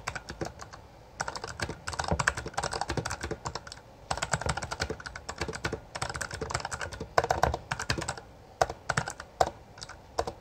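Both hands type rapidly with their fingertips on a Bloody B820R full-size backlit mechanical keyboard with plastic keycaps. Dense bursts of sharp, clacky key taps come in runs separated by brief pauses. Each tap dies away almost instantly.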